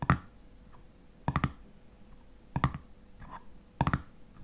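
Fingernails tap and scratch on the black metal screw lid of a full glass honey jar. Four clusters of short, dull clicks with a low body land at uneven intervals, each dying away almost instantly. Faint scratching fills the quiet gaps between them.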